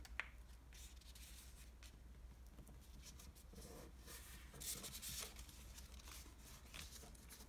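A folded green floral washi origami paper sheet is creased and rubbed along its edges by fingertips and nails on a table. Quiet, dry paper rustles and scratchy swishes come in bright, high bursts over a steady low hum, with a few slightly louder strokes near the middle and end.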